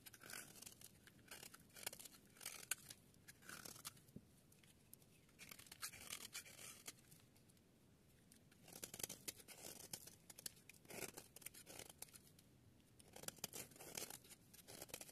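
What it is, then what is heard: Dry bar soap scraped. A utility-knife blade scrapes and shaves the end of a solid yellow rectangular bar of dry soap, held by a hand with long nails. Dry, bright, crisp shaving rasps come in dense bursts separated by quieter pauses, sped up to double speed, with little low end and almost no ring after each stroke.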